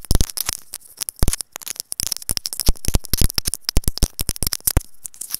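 A small white hollow plastic in-line mic capsule on wired earphones, held between fingers, is tapped and scratched with long acrylic nails. Quick, irregular clicks and taps land as close, heavy low thumps with bright crackling edges. Scratchy rustling fills the gaps between them.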